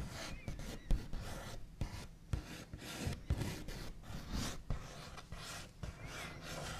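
The backs of fingernails scratch and trace across a wooden table, with occasional light taps. The sound is a dry, raspy rubbing with brief dull knocks that die away almost instantly, mostly low in tone with little high-pitched hiss.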